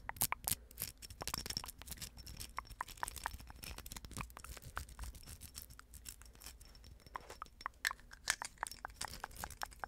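Long acrylic nails scratch along the bumpy surface of a small, hollow, silver plastic rhinestone mesh napkin ring band. A rapid, irregular run of dry, bright scratches and sharp clicking taps follows, each dying away almost instantly over a faint low background.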